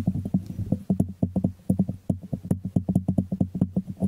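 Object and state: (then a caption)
Small ceramic jar tapped. Fingertips tap and scratch the glazed ceramic bottom of a small, hollow white ceramic jar held sideways. About thirty quick, dull taps sound in a steady patter. Each tap has a low, hollow body tone that dies away almost at once, with faint scratching between.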